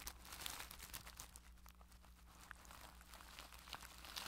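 A makeup brush rubs and presses on clear plastic cling wrap stretched over a microphone's mesh head. It makes a dense, irregular stream of bright crinkling and crackling with sharp high pops, over a steady low hum.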